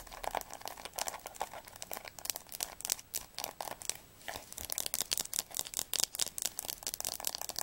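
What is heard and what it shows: Long nails tap quickly on the spine of a blue atlas held horizontally. The result is a rapid, dense stream of dry, bright clicks with a crinkly edge, almost no low end, and no ring after each tap.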